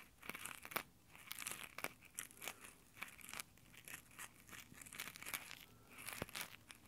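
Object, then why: Nylon exfoliating gloves on a metal microphone grille. Rough nylon exfoliating gloves scratch and rub their fingertips over the metal mic grille of a handheld Tascam recorder. The result is a quiet, crunchy fabric friction made of bright, crackling scrapes and sharp ticks that come in uneven bursts, with almost no low end.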